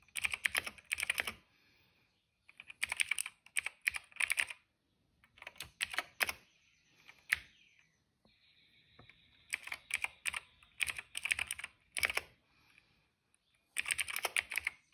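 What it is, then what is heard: Plastic mechanical keyboard. Fingertips type on a cream plastic retro mechanical keyboard with plastic keycaps and a hollow case. Bursts of bright, crisp plastic clacks come in quick runs separated by short pauses, with a faint sustained high tone partway through.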